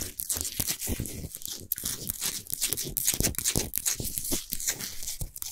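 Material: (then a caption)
Rock salt. Long nails scratch quickly across the top and sides of a large, solid Himalayan salt sphere lamp that is lit from inside. The result is a dense, continuous rasping with a bright, gritty hiss, broken by quick crackling strokes and soft low bumps.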